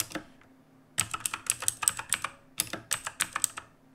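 Fingertips of both hands type on the plastic keycaps of a black backlit mechanical keyboard resting on a wooden desk. Quick bright clicks come in two bursts after a short pause, each keystroke sharp with almost no ring.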